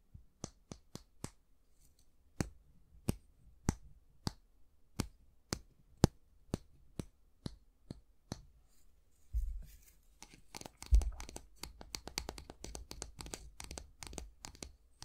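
Fingernails tap along the solid, light wooden handle of a slim, long-handled bristle brush held in both hands, producing a steady series of short, dry, separate clicks. After about nine seconds the nails scratch along the handle instead, giving denser rustling scrapes mixed with quick taps.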